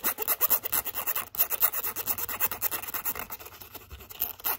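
Long acrylic nails scratch quickly across the face and along the edge of a light-blue pebbled leather zip wallet. The result is a fast, irregular run of dry, bright scratching strokes with short, clicky attacks and almost no low end.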